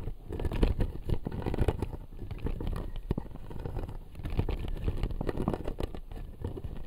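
Fingertips and nails from both hands scratch and tap the front teeth of a clear acrylic jaw model with white resin teeth. The result is a steady stream of soft, dull clicks and scratches, heavy in the low end, with many quick overlapping taps that die away almost instantly.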